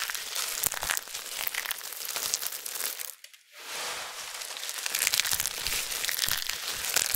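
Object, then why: Pile of thin dried soap flakes. Cupped hands with long nails crush and crumple a heap of thin, crispy, dried amber soap flakes between the palms. The result is a dense, bright crinkling and crackling with little low end, briefly going quiet about halfway through before the crunching resumes and builds again.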